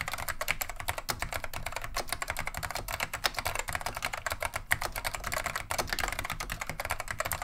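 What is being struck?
Plastic mechanical keyboard.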